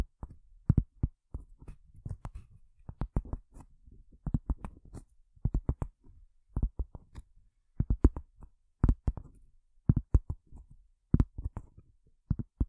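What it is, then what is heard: Cork tapped with fingernails. Long fingernails tap on a cork surface in quick, irregular bursts. The taps are soft, dull and low-pitched, with no brightness and almost no ring, separated by short quiet gaps.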